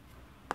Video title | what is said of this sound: LG G3 ( European Model) - Unboxing & Preview | It's only when you tap on it that you find out that this is basically plastic and not metal.